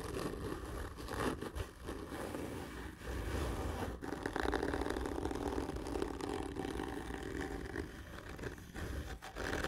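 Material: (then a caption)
Cardboard. Long fingernails scratch and rub hard and slowly across a large, hollow, black printed cardboard whisky gift tube lying horizontally. The result is a continuous, dry, rasping scrape with a hollow low-mid body and little high brightness, with brief quieter dips between strokes.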